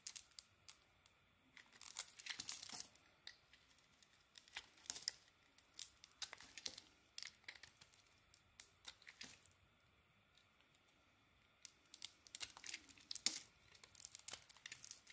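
A small metal blade carves and scrapes a white bar of soap with a dark rim, held by a bandaged fingertip. Dry, bright, crackly scraping comes in short clustered bursts with quiet pauses between, including a longer lull near the middle. The sound is thin and crisp, with almost no low end.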